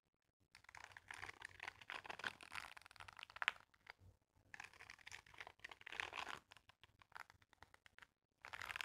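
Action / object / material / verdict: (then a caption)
scrape / silicone dish-scrubbing glove with bristles, scraped by a wooden comb / silicone / none. A wooden comb held in one hand is scraped across the bristle-covered palm of a mint-green silicone dishwashing glove worn on the other hand. Dense, crackly scratching comes in three bursts with short pauses between them. The sound is bright and papery, with almost no low end.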